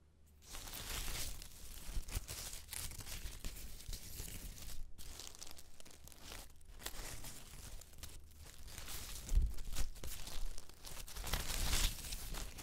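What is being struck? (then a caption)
Pile of autumn leaves. A pile of dry yellow autumn leaves on a white knit blanket is pressed, rubbed and crumpled by fingertips and flat hands. It gives a close, bright, crackling crunch and rustle that runs almost continuously, with brief pauses near 5 and 6.5 seconds. The crunching grows louder toward the end over a steady low hum.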